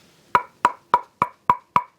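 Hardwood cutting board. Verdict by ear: Dense.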